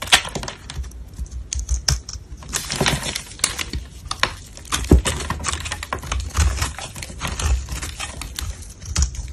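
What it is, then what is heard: Soap bar being scraped. A black utility blade shaves and scrapes powdery flakes off a solid white-cream soap bar with molded bumps, held in black-gloved hands. Rapid, crisp scraping and ticking strokes sound continuously, with bright, papery crackle over soft low thumps and a few sharper louder cuts.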